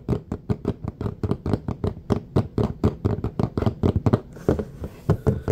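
A large, thin, flat red plastic serving tray with a raised rim lies empty on a surface and is tapped and scratched with the fingertips and nails of both hands. About 28 quick, dull, low taps land in a steady rhythm, each dying away almost at once. Toward the end, a faint bright scratching hiss runs between the taps.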